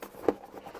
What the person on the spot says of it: 이거 흔들어 보니까 아까 약간 들려요